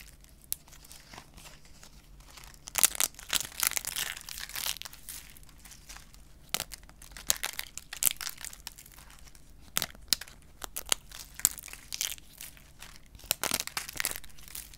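A small stack of thin, dry yellow shaved-soap chips is held in both hands while long painted fingernails and fingertips press, bend and crush them. The result is a dense series of bright, crisp crackles and crinkling snaps, with bursts of crushing between quieter stretches. The clicks stop instantly, with no ring afterward.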